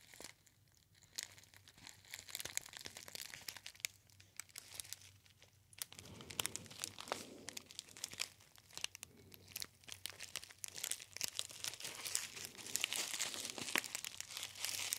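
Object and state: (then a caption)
Foil tea pouch crinkled. A gold metallized foil tea bag pouch with a label is crinkled and squeezed by fingertips. The result is dense, bright crinkling with sharp crackles and brief tearing-like rustles, starting sparse and quiet and growing busier and louder toward the end.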